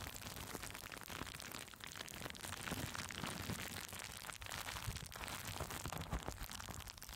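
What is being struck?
Plastic bubble wrap on a microphone.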